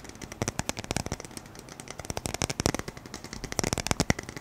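A roll of black adhesive tape on a red and white patterned core with a hollow centre is held up and tapped quickly with the fingertips and nails. The result is a rapid, irregular stream of short, dry clicks and taps, many distinct hits packed closely together, with almost no ring after each.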